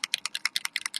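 An alcohol ink mixative bottle is shaken to mix its contents, which would otherwise settle out, and the loose mixing ball inside rattles. The result is a rapid, steady series of sharp, bright clicks, all high-pitched with no low end.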